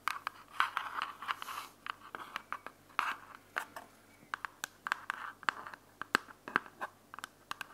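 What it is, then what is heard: Plastic earbuds charging case. Long nails scratch and tap a small white hard plastic charging case for wireless earbuds held in the hand. Quick, dry clicks and short scraping strokes sit around the midrange near 1.5 kHz with bright edges, and each tap stops almost instantly with no ring.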